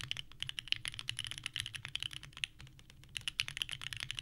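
Both hands type continuously with the fingertips on a small 65% mechanical keyboard with a purple case and white ABS keycaps resting on a desk mat. The result is a rapid stream of bright, clacky key presses centered near 3 kHz, each snapping off almost instantly, with a brief lull in the middle before the typing picks up again.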